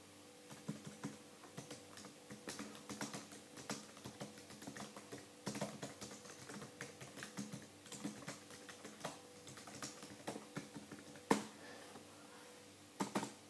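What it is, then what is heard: Plastic laptop keyboard being typed on. Both hands type rapidly with their fingertips on the dark plastic keyboard of an open laptop resting on a desk, giving quick, light taps on the hard plastic keycaps. The clicks come in a dense, uneven patter over a faint steady low hum. One sharper, louder clack stands out near the end, followed by a last short burst of keystrokes.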